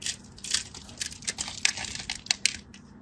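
A solid orange-and-white striped bar of soap, held in the fingers, is carved with a craft knife in scratching, cutting strokes. A series of dry, bright scraping crackles comes in short bursts with almost no low end and no ring after each stroke.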